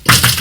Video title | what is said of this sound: Sampling & Scaling: Hard Rock Gold Mining Episode 1 | it's kind of a high pitched noise it sounds solid